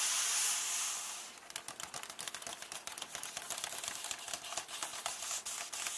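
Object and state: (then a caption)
Nail taps on paper book pages. Long painted nails tap rapidly on the paper pages near the edges of an open hardcover book, resting on the same text spread. A bright, breathy paper hiss opens the clip, then gives way to about 25 quick, crisp, high taps in an uneven rhythm, each dying away fast with no low end.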